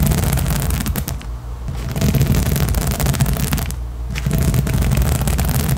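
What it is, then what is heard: Rubber spiky balance cushion being scratched. Long acrylic nails scratch fast across the small nubs of a large blue inflatable rubber/PVC balance disc, a hollow, air-filled cushion. The result is a dense, continuous scratching with a heavy, hollow low rumble and crisp bright scraping on top. It eases briefly twice before picking back up.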